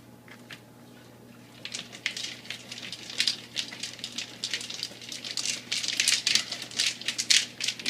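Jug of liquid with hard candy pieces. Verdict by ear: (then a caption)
Undissolved. A 1-gallon jug of must made with hard candy and yeast nutrient is shaken, producing bright, irregular rattling and clicking as solid candy pieces knock around inside the liquid. The rattle shows the hard candy has not yet dissolved.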